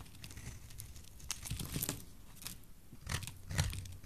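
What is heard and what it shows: A solid, rounded, bright green bar of dry soap is held in the hand and cut and scraped with a metal blade. The result is a quiet run of dry, crumbly crunching and scraping, with brief brighter bursts as the blade bites in. A low thud sits under the louder cuts.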